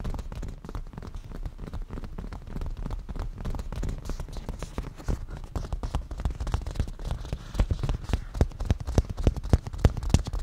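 Fingernails from both hands tap rapidly on a padded black cushion with a grained leather surface. The taps are short, dry and soft, mostly low thuds with little brightness, in a fast, uneven patter. They grow louder and more distinct toward the end.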